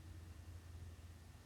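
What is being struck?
Nothing is struck.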